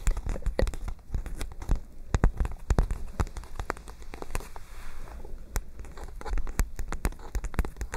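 A white spiral-bound paper notebook is held up and bent while long nails tap its pages. The result is a dense run of quick, dry taps and crinkles that fades briefly in the middle before the tapping picks back up.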